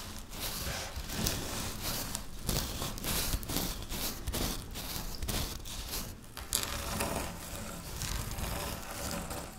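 Long natural nails and fingertips rub and scratch through a pile of dry crushed wafer biscuit crumbs on a pinkish stone-like surface. A steady, close crunching and crackling rustle runs throughout, with bright gritty scratches over a low rumbling base.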